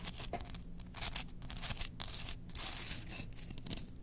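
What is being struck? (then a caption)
Bamboo slotted spoon. Long nails scratch along the slots and handle of a solid, engraved bamboo slotted spoon held in the hands. The result is a steady run of dry, bright, rasping scrapes with short, crackly bursts and no ring.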